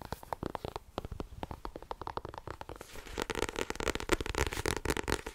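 Fingertips and long nails tap quickly on the front card cover of a solid blue-cover paperback book held up in both hands. The dry, short taps come fast and irregularly, lighter and more spaced at first, then denser, louder and brighter from about halfway through.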